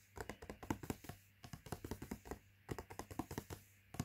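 Fingertips and nails tap rapidly on the front panel of a cardboard latkes mix box lying flat. The quiet, dull, papery taps come in quick bursts with brief pauses, each hit short with almost no ring and a low-mid, muted tone.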